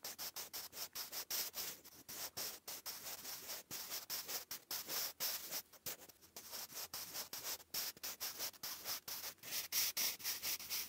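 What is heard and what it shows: A wooden graphite pencil writes cursive on a lined grey paper notebook page, giving a bright, dry scratching as the tip drags across the paper. The strokes come in a quick, uneven run of short scrapes with brief pauses between them, mostly high hiss with almost no low end.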